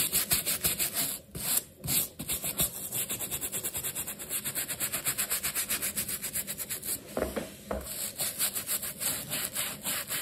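The wet black rubber sole of a leather sneaker, held upside down in one hand and covered in cleaning foam, is scrubbed with a wooden-handled bristle brush in back-and-forth strokes. The result is a steady run of bright, hissy, foamy scrubbing strokes, about two per second, with a couple of brief pauses near the start.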